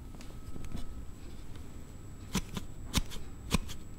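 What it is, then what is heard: Plastic sliding phone case. A Note7 phone in a hard plastic slide case is held in both hands while a thumb slides the panel back and forth, giving an unusual sound. Soft, low rustling scrapes build into three sharp, bright plastic clicks that stop instantly without ringing.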